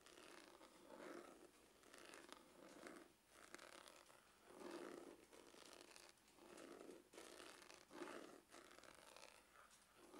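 Fingernails scratch quickly across a dark, textured faux-leather glasses case with a hollow hard shell. The result is a quiet, rasping scrape in repeated swelling bursts, with a hollow mid-low body and a bright, hissy edge. Each stroke fades quickly.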